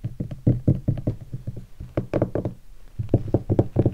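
Fingertips and a single finger tap a hollow guitar hard case covered in black leatherette and vinyl stickers. The result is a rapid, uneven series of soft, low, hollow knocks centred near 110 Hz. Each knock dies away almost instantly, with little high-end content.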